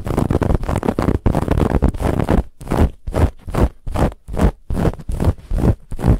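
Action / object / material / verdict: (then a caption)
scrape / stuffed fabric pillow with woven texture / fabric / none. Long nails on both hands scratch a soft, stuffed white fabric pillow with a woven textured band. A dense, low, rustling scrape runs steadily at first, then breaks into quick, separate strokes in an uneven rhythm.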